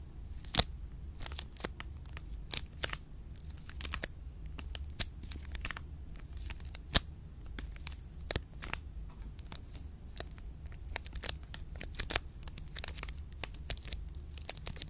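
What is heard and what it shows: A full Choceur milk chocolate bar in an orange plastic wrapper is scratched and crinkled by long pink nails. Dense, crisp crinkling and sharp scratching clicks repeat throughout over a low steady hum.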